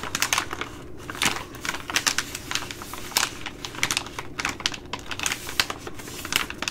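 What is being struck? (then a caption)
Plastic laminate food pouch. A plastic laminate Ready Rice pouch, held up close, is tapped and scratched with long glittery nails. Quick, dry, bright clicks and crinkly scratches come in uneven bursts over a faint low background, each tap dying away almost at once.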